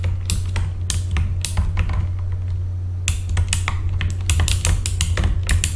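Both hands tap with their fingertips on the plastic keycaps of a full-size backlit mechanical keyboard. The result is a quick, irregular run of bright, clicky key strikes that come in bursts with short pauses, over a steady low hum near 70 Hz.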